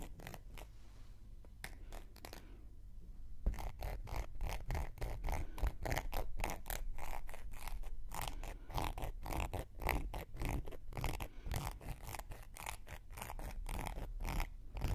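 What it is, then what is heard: Cork coaster scraped with a wooden needle. A thin wooden knitting needle scrapes along the rim of a round, flat, solid cork coaster held edge-on in one hand. A few sparse, quiet strokes give way after a few seconds to a steady run of quick, dry, rasping scrapes with a low, muffled body and short, bright edges.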